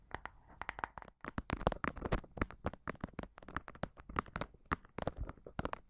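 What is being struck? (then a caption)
Thin flat plastic mat. Long pointed black nails tap a thin, flat, solid red plastic mat held horizontally across the tops of two microphones. The result is a steady run of quick, dry, crisp taps with a dull low thump under each. Every tap stops almost instantly, with a brief pause about a second in.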